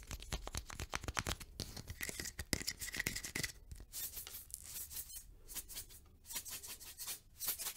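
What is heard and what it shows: A small, hollow cylindrical plastic tube with a blue label and a white cap is held in the hand and tapped and scratched with long nails. Quick, dry clicks alternate with bright, rasping scratches, each tap dying away almost instantly.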